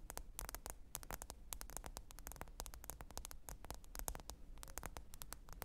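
Long acrylic nails rapidly tap and scratch the glass screen of a smartphone lying flat, screen up, on a fur rug. The result is a dense stream of crisp, bright clicks with very short decay over a steady low hum.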